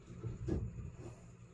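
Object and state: Nothing is struck.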